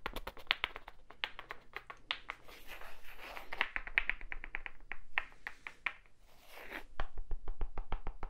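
A small, solid, light wooden cube held close to the microphone is tapped and scratched with fingertips and nails. Quick, dry, bright clicks come in fast uneven runs, broken by softer scratching swishes, over a faint low hum. Each tap dies away almost at once, with a woody tone centred around 2.3 kHz.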